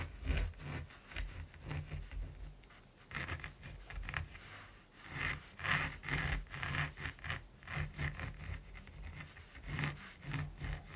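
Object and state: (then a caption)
Pencil scratching on primed canvas. A mechanical pencil tip scratches short strokes across the textured surface of a large, flat primed canvas. Dry, bright scraping strokes repeat at about two per second in an uneven rhythm, over a steady low hum.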